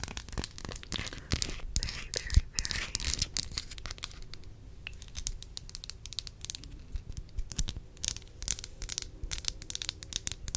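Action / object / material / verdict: tap / small glass perfume bottle / glass / none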